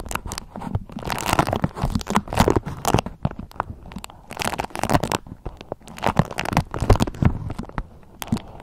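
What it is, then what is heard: Beeswax-coated cotton food wrap. A thin, waxy beeswax-coated cotton food wrap is squeezed and crinkled in both hands while long nails scratch and crumple it. Dense bursts of crackly rustling and crunching come and go in waves, with sharp broadband snaps riding over a heavy low-end handling rumble.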